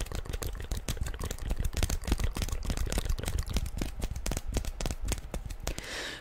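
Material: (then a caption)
Hard plastic. Long nails tap fast and unevenly on a hollow black hard-plastic inline roller skate boot with mesh panels and plastic wheels, held in the hand. The taps are quick, dry clicks with a deep, hollow low thump, each dying away at once. The tapping gives way to a brief bright, scratchy rub at the end.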